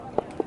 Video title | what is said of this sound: Prague 2024 | ici ça sonnait tout creux